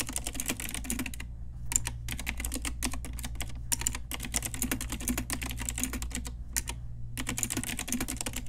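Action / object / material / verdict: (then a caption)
tap / mechanical keyboard with round plastic keycaps / plastic / none. Long nails and fingertips type on a pink Ajazz retro typewriter-style plastic mechanical keyboard with round plastic keycaps. Rapid, bright, clicky keystrokes come in quick bursts separated by short pauses, over a steady low hum.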